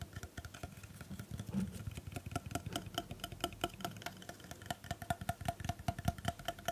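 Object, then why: Plastic hair straightener body. A black plastic hair straightener with its plates opened and a hollow body is held close to the microphone and scratched and rubbed with long painted nails. Rapid, uneven clicks and scratchy taps sound over a faint low hum, each with a short hollow plastic ring.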